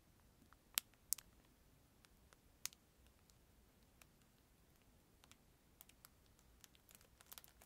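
Fingertips crinkle and scratch a thin, clear plastic film packet with a disposable plastic spoon inside, held close to the microphone. Quiet, bright, dry crackles and ticks come in an irregular scatter, with a few sharper snaps near the start and a denser cluster of small crinkles toward the end, over a faint low hiss.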